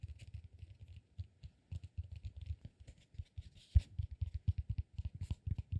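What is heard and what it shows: A solid peanut-shaped cork massage ball is gripped and scratched with fingers and nails. The result is a quiet, irregular run of soft, dull, low scratchy taps and rubs with faint bright crackle, plus one louder knock partway through.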